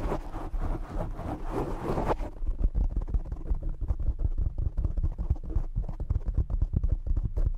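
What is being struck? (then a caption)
Foam microphone windscreen. Fingertips from both hands cup, rub and scratch the black foam cover on a desktop microphone. The first two seconds are a broad, hissy rustle reaching into the highs. It then becomes a dense run of close, boomy low thumps and scrapes, with almost all energy below 200 Hz.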